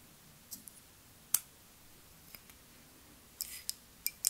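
Long nails tap a partly filled clear glass perfume bottle with a white rounded cap, making quiet, bright clicks spaced irregularly. Each tap is sharp and dies away almost at once, with a small cluster of quicker taps near the end.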